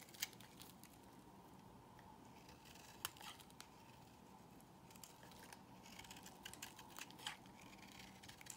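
A solid peach-colored bar of soap, held in the hand, is cut and scraped with a box cutter blade. Quiet, bright scraping and crisp little snaps come in irregular bursts over a soft steady background hiss, with a few sharper clicks standing out.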